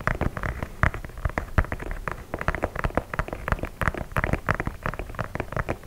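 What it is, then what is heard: White leather sneaker. Fingernails tap and scratch the perforated leather toe box of an empty white leather sneaker held close to the mic. A rapid, irregular run of short, dry taps with a low thud and papery scratching in between, each hit dying away almost instantly.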